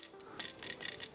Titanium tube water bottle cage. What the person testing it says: it actually sounds Hollow it's kind of cool it's a weird sound